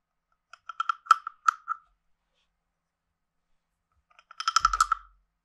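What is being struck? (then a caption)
Carved wooden frog guiro with a wooden stick. A hand-sized hollow carved wooden frog guiro is tapped and scraped along its ridges with a wooden stick. It makes two bursts of short, woody clicks with a hollow ring centred near 1.3 kHz and bright upper overtones. A quicker, denser scraping run after a pause ends with a faint low thump.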